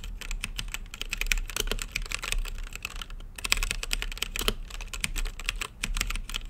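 Fingertips type continuously on a plastic mechanical keyboard with plastic keycaps set in a translucent acrylic case. The result is a rapid, uneven stream of short, dry clacks with a bright, crisp top edge and a pronounced tone around 2.5 kHz. A soft low thump sits beneath each keystroke, and none of them ring on.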